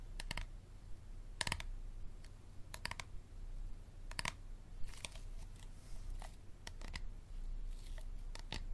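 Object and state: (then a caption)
Hard plastic water bottle. A hard plastic water bottle is tapped and scratched. Sharp, bright clicking taps come in quick clusters, broken up by softer scratching passages. A steady low rumble sits underneath throughout.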